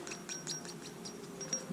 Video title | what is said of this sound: [TUTO] Comment changer sa Distribution sur Scénic 1.6 8s | Ça c'est du métal. Hein. Ça sonne bien le métal